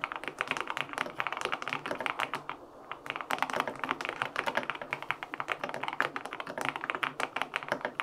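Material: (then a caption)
Aluminum, plastic. Fingertips type steadily on the plastic keycaps of a white-pink, full-aluminum 65% LINK65 mechanical keyboard with linear switches, an FR4 plate, and foam filling. The result is a fast stream of short, crisp, bright clacks with very little low thump, with a brief lull just before the three-second mark.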